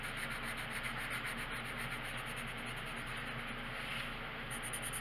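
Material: Paper.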